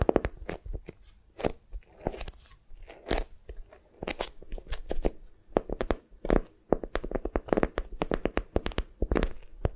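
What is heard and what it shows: A small foam squishy wrapped in beeswax-coated cotton is held in both hands while long nails squeeze, grip and scratch the stiff waxed fabric. Rapid, dry crinkles and crunches come in uneven bursts, each one short with no ring, and some peaks reach high and bright.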